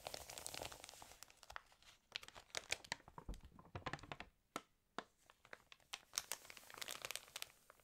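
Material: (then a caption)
Glossy paper. Fingertips rub, crinkle and turn the pages of an open, water-damaged glossy paper fashion magazine. The result is dense, bright crackling and crinkling with sharp, quick snaps, in bursts separated by brief quieter pauses.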